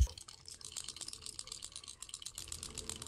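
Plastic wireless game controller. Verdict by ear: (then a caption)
Loose. A third-party Joytorn wireless plastic Nintendo Switch controller is shaken, producing a rapid, bright clicking rattle from a broken loose part inside over a faint low hum. The breakage is linked to the left trigger becoming less clicky after 6 months of use, though the controller still works.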